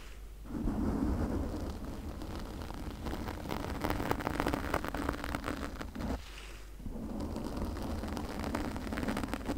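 Long nails scratch a pink foam windscreen on a condenser microphone with both hands, producing a dense, crackling, rumbling scrape. The texture resembles heavy rain and stays steady except for a brief drop in intensity a little past the midpoint before resuming.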